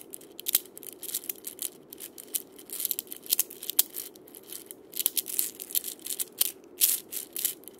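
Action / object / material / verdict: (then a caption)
scrape / wooden cabasa with steel bead chains / steel, wood / none. Fingertips press, roll and scratch the steel ball chains of a wooden cabasa with a wooden handle against its cylinder. The result is a crunchy, bright rattle of dense, uneven bursts with sharp clicks, over a steady low hiss.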